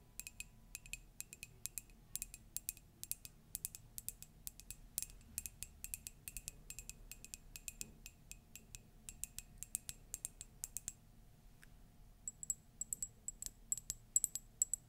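Long nails tap the side and base of an empty, hollow green-and-cream ceramic Grogu "Wanted" mug in quick, bright clicks. The clicks ring high and decay fast, with a short pause near 11–12 seconds before the tapping resumes.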